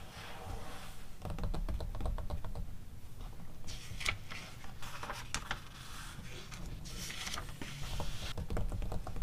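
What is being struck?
Glossy paper magazine pages.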